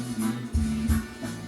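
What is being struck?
Nothing is struck.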